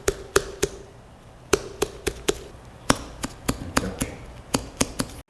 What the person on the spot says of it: 퉁퉁퉁 소리가 나면 잘 익은 멜론입니다 통통통 소리가 나면 아직 덜 익은 상태가 되는 거죠